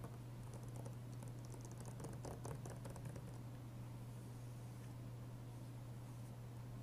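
Fingertips and short nails of both hands tap and trace over the cover sleeve of a closed, hollow hard plastic PS3 Blu-ray game case (inFAMOUS 2) with a disc inside, lying flat on a wooden desk. A quick run of soft, clicky taps fills the first few seconds, then gives way to faint scratchy tracing. A steady low hum runs underneath throughout.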